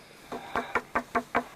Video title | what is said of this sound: Arche Noah gefunden 2 / 6 DOKU | it's wooden it's not a rock you hear that